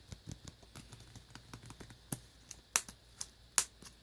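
Tapping on a tablet cover, heard as a quiet run of light, dry clicks. The clicks are bright and crisp and die away almost at once. They come at an uneven rhythm, and a few sharper, louder taps stand out near the end.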